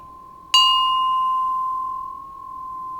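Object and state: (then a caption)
Bronze bell struck and ringing. A Japanese bronze Buddhist temple bell is struck once with its striker. It gives a bright, chime-like tone with high overtones that fade over about a second and a half, leaving a steady ringing hum that was already sounding before the strike.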